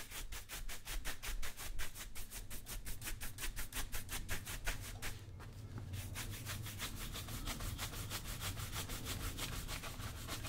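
A brown leather lace-up work boot, hollow and worn on the foot, is brushed back and forth over the toe and vamp with a wooden-backed bristle shoe brush. Quick, rhythmic scratchy rubbing strokes sit over a low rumble, briefly softening near the middle before settling into a steadier brushing pace.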